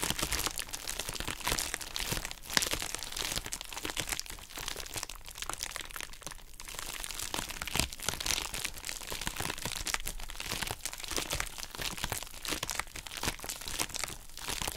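Long acrylic nails scratch and tap across the surface of a pink, heart-shaped plastic bubble wrap pouch, up close. The result is a steady, bright, dense crinkling and crunching with many sharp little clicks and cracks throughout.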